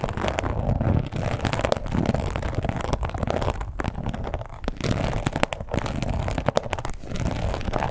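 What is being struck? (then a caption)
Embossed leather wallet. Long pointed nails scratch and tap across the surface of a red croc-embossed leather wallet with a strap closure. A steady, low-heavy rasp of scratching runs throughout, broken by frequent sharp, short clicks from the taps that die away almost instantly.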